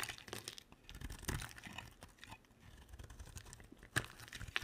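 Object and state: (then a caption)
Bar of soap being carved. An olive-green rectangular bar of solid soap is carved with a utility knife blade, giving a string of soft, crisp scraping and crumbling cuts. Brighter, sharper slices stand out near 1.3 and 4 seconds, and a faint low hum sits beneath.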